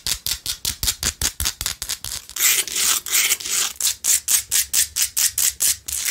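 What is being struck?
Rock-salt lamp.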